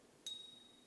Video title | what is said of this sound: (금값, 금시세) 메이플 은화 이글 은화 진짜 가짜 구분 방법 #금시세 #금값시세 #은화 #실버바 #골드바 #창원한국금거래소 #진해한국금거래소 bullion test | 띵하고 아름다운 소리 나죠